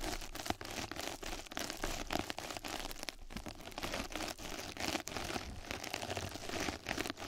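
Two mascara brushes scratch and brush across a flat yellow knitted-mesh bath scrub sponge pad that is laid over the microphone. The result is a dense, continuous crinkling and crunching scratch texture with bright, rustling highs and steady low rumble, broken by brief dips between strokes.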